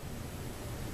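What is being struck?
Nothing is struck.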